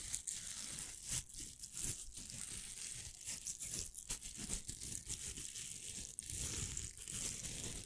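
Fingernails scratch across the hook surface of a pink hollow velcro hair roller. The result is a dense run of bright, crackly rasps with quick tearing bursts, close and steady throughout.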